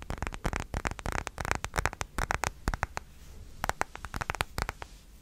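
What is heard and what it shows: Fingertips and nails rapidly tap and scratch the back and edges of a thin, hand-sized smartphone in a dark plastic case, held in both hands close to the mic. The dense, dry clicks and scrapes have a soft low thump and die away almost instantly. A brief quieter scratchy pause comes partway through before the tapping picks up again.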